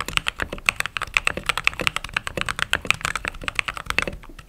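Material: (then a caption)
Plastic. Fingertips type fast on a mechanical keyboard with white/cream plastic keycaps. Rapid, crisp, bright clicks and clacks follow each other with almost no ring, centered around 2.6 kHz with little low end.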